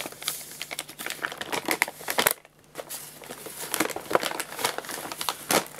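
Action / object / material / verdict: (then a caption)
scrape / paper pet food bag / paper / none. An empty, crumpled paper guinea pig food bag is held upright and crinkled and squeezed by hand. Dense, bright crackling and rustling comes in quick bursts, stops briefly just before the halfway point, then resumes just as busily.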